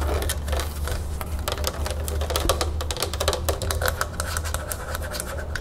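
A large, clear plastic club soda bottle with a blue cap, full of liquid and held tilted in the hands, is tapped rapidly with long red-painted fingernails on its plastic body and cap. The result is a dense stream of quick, crisp clicks with a hollow midrange knock, over a steady low hum.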